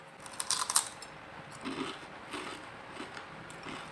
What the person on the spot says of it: Coba dengarkan bunyi kriuknya. Crispy dan renyah sekali ya.